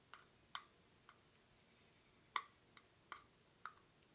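Fingernails scratch the weave of a small, hollow woven rattan/reed basket held in both hands, its contents not visible. Seven short, dry ticks sound at irregular intervals over a faint hiss, each centred around 1.1 kHz with bright upper edges, almost no low end and no ring.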